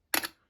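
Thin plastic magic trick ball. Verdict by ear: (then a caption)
Cracked. A single tap on the cracked ball of a cheap, thin plastic ball-and-vase magic prop, cracked from being dropped once. It gives a brief, bright, thin, tinny click with no low end that fades within about a quarter second, the sound of cheap, thin plastic.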